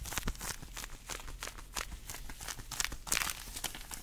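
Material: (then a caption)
Vinyl. Shiny black long vinyl (PVC) gloves, worn on both hands, have their fingers and palms rubbed, squeezed and stretched against each other close to the microphone. The result is a rapid run of bright creaks, squeaks and crinkly rubbing bursts over a low rumble, with a few sharper squeaks near the end.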